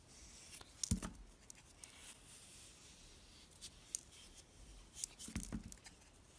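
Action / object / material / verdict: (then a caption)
scrape / bar of soap cut by a kitchen knife / soap / none. A rectangular, solid blue-and-white swirled soap bar held in the hand is shaved with a kitchen knife, which cuts curls from its edge. Quiet, crisp scraping and shaving strokes come in short bright bursts, with a few sharper cuts standing out. The sound is soft and close throughout.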